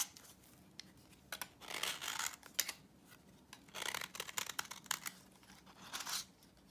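A utility knife blade shaves the face of a thin, worn, dry vintage orange soap bar held in the hand. It makes bright, crunchy scraping bursts with sharp clicks as dry crumbs break away. The sound is quiet, with almost no low end, and it comes in several short scraping passes.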